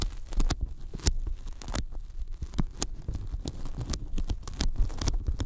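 Fingertips tap along the top edge of a thin, white, closed-cell polyethylene foam sheet that is bent and laid over the microphones. The result is a rapid, uneven patter of dull, low thumps, each with a brief bright crackle and almost no ring.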